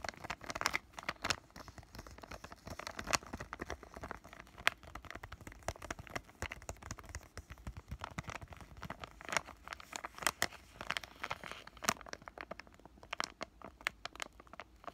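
A palm-sized white flexible plastic-laminate pouch of acne patches has fingertips rubbing and scratching over its red label area, then it is squeezed and crinkled. The result is a steady run of dense, bright crinkles and sharp scratchy ticks with very little low end, all at a quiet level.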